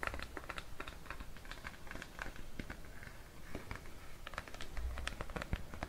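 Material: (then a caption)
Plastic. Fingertips and nails tap and scratch the blue plastic lid and side wall of a Cetaphil plastic cream tub held in bare hands near a mannequin's ear. Quick, dry, bright clicks and scraping patter come in a steady rapid stream over a low rumble, each tap dying away almost at once.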